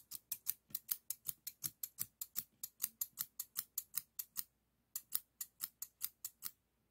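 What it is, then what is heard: Steel thinning shears snipping. Stainless steel thinning shears, a solid metal tool, are held close while fingers work the handles, so the blades snip and the pivot clicks. About 32 quick, bright, dry snips come in a steady run, with a brief pause before the last few.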